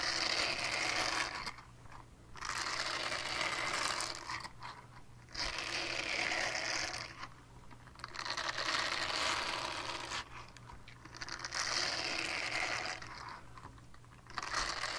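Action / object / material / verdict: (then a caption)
scrape / silicone scrubber pad / silicone / none. Long dark nails scratch a small, flat, solid purple silicone scrubber pad with a hanging loop, making bright, raspy scratching in sustained passages. The passages alternate with brief quieter gaps where only a faint low hum remains.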